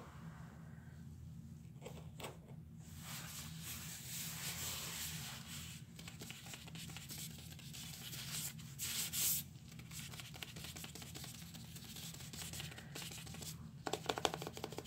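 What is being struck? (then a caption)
Cardboard cleanser canister with paper label. A green Comet cleanser can, a hollow cardboard tube with a printed label lying on a bed of spilled white powder, is scratched and rubbed along its label by gloved fingertips. The result is a steady, dry, bright rasping and scratching texture over a low constant hum. Brief louder scrapes come through near the middle and the end.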